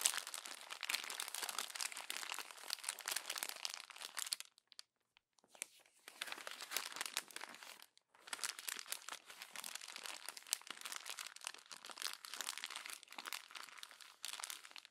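Hands with long nails crumple the pages of an open glossy paper magazine and press them together. The result is dense, bright, crackling crinkles with almost no low end, broken by two short near-silent pauses around the 5-second and 8-second marks.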